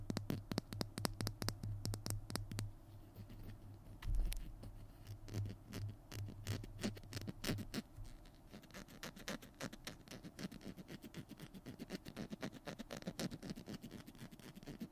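Fingernails scratch and tap the tube and cap of a small hollow plastic glue stick held in both hands, making a quick run of dry, clicky scratches and taps with no ring. A low hum sits underneath for the first half, with a soft thump near the middle, before the scratching carries on in a steady, brisk patter.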